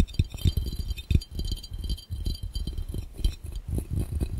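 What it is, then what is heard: Glass fishbowl. Fast tapping on a glass fishbowl held over the camera gives a quick run of glassy clinks. The taps are short, dull thuds with most of the energy low, and each one dies away at once with almost no ring.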